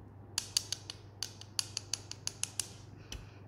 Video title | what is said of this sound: acrylic for beginners- smile lines | it has a complete different sound when you tap it